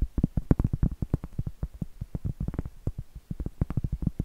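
A round, flat, solid cork trivet held upright is scratched and tapped with medium-length acrylic nails. A rapid, uneven run of short, dull, low thuds comes through with soft scratching between them. Each tap dies almost instantly with no ring.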